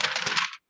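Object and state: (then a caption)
Paper sheet identified by its rustle. A sheet of paper is rustled for about half a second, giving a bright, crackly crinkle with almost no low end that stops abruptly. The paper is heard more loudly than a piece of wood would be, because it is thin.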